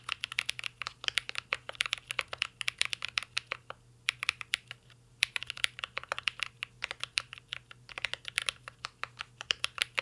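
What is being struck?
Mechanical keyboard with metal case and plastic keycaps.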